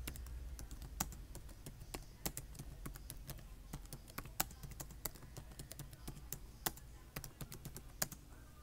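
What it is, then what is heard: Plastic laptop keyboard. Fingertips with short nails type rapid taps on the solid keys of a black plastic laptop keyboard with USB and VGA ports on its side. A fast, uneven stream of short, dry plastic clicks with bright tops rises over a steady low hum, and a few keystrokes land louder than the rest.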